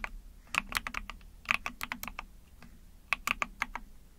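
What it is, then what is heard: Plastic mechanical keyboard being typed on. Long painted fingernails tap rapidly on a small 44-key ABS plastic mechanical keyboard with plastic keycaps. Quick bursts of short, bright clacks come in uneven runs with brief pauses. Each click is crisp and dies away almost instantly, over faint low hum.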